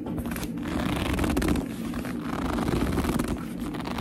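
Fingers with long nails squeeze, grip and scratch the front of a hollow black leather handbag. The result is a continuous squeaky, creaking rub with a dense scratchy texture and a low, full body, swelling and easing without clear breaks.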